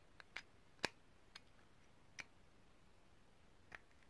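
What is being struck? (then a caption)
Small ridged brass grinder. A small, hollow, cylindrical, ridged brass herb grinder, held in both hands, is tapped and scratched with long painted nails. Six short, dry, bright clicks ring out, spaced irregularly over a quiet background, each fading almost instantly.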